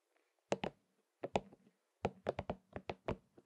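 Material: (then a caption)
Rubber. A palm-sized, hollow, pink and purple soft rubber spiky massage ball is held in one hand while the fingertips of the other hand tap and scratch its spikes. About a dozen short, dull, muffled taps come in irregular clusters. Each tap dies away almost at once, with faint scratchy rustles between them.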